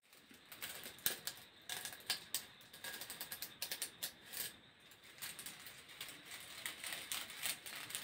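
Fingernails scratch along the ribs of a long, grey, hollow and flexible corrugated plastic hose held close to the microphone. The result is a quiet, bright run of rapid ratcheting clicks and rasps that rise and fall in short bursts, with almost no low end and each click dying away almost at once.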